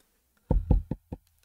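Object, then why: Wooden table. A hand knocks four times on a table "for luck," making dull, low thuds with little high content. Each knock dies away quickly, with the last one softer than the rest.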